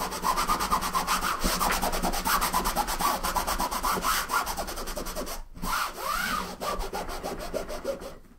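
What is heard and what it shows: A green microfiber cloth wipes and rubs the top and edge of a large, closed, hollow, soft-sided blue nylon suitcase resting on a wooden table. Steady, rhythmic swishing strokes carry a bright fabric hiss. They break off briefly around the middle, resume with a few sweeping passes, and then fade out.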